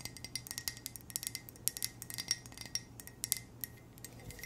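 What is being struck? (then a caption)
Ceramic coffee mug. Long nails tap gently and quickly on a hollow black ceramic coffee mug with white text. The result is a quiet, steady stream of bright, high-pitched clicks that stop almost at once, with faint hiss between them.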